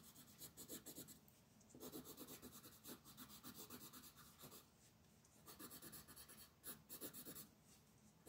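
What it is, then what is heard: Colored pencil on paper. A green wooden colored pencil held in the fingers rubs and scratches its tip across a flat white mandala coloring page on a table, with the other hand resting on the sheet. Short, fast strokes make a dry, scratchy rasp with bright hiss, coming in bursts of about four per second with brief quieter pauses between them.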